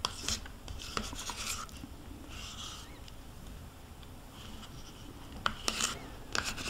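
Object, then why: Plastic yogurt cup and metal spoon. A metal spoon scrapes the inner wall of a small white plastic yogurt cup, mostly empty with yogurt residue and held tilted in hand. Bright, raspy scraping strokes alternate with sharp clicks of the spoon against the plastic. A quieter stretch of softer scraping sits in the middle.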